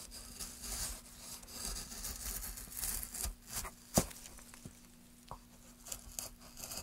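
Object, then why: Wooden plank. A gouge scrapes and carves along the edge of a solid light wood plank, making uneven bursts of dry, bright rasping and shaving. A few sharp clicks stand out, the loudest near the middle. A faint steady low hum runs underneath throughout.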